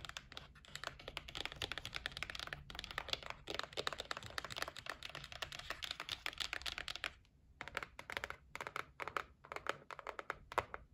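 Long nails tap rapidly on the top of a white cardboard gift box resting on a table. The dense, bright, dry clicks run steadily for about seven seconds, pause briefly, then return as sparser, sharper taps.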